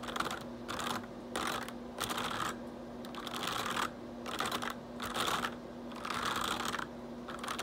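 Fingertips type fast on a black plastic RGB backlit computer keyboard, producing bursts of bright, dense key clicks separated by short pauses. A faint steady low hum runs underneath throughout.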